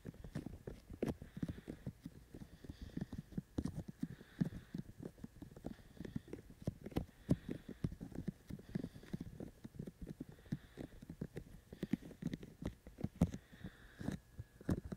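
Fingertips tap rhythmically on the hollow white silicone or rubber ear shells of a 3Dio-style dummy-ear binaural microphone, a black rectangular body held in both hands. The result is a steady stream of quick, hollow, low thumping taps that die away almost instantly, with faint hiss in the background.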